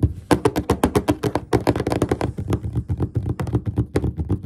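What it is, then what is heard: Wooden desk top. Both hands tap a large, solid, flat dark-stained wooden desk top with short fingertips and nails in quick, rhythmic tapping. About four dull, low thuds per second in a loose rhythm, each one short with almost no ring.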